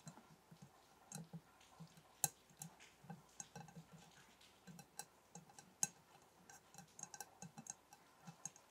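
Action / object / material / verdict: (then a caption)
tap / glass candle jar / glass / none. A glass candle jar is tapped lightly and irregularly, making quiet, bright, high-pitched clinks. Each tap is short and dies away almost immediately, with a soft low thud under some taps.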